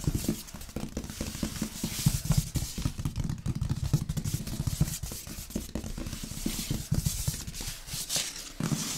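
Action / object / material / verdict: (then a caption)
tap / large cardboard box / cardboard / none. Fingertips and nails of both hands tap, scratch and rub the front of a large printed cardboard box for an LG sound system, hollow with its contents inside. Soft, rapid hollow thumps with a low tone mix with a steady dry scratching hiss that rises bright and sharp in bursts. The patter continues without pause across the clip.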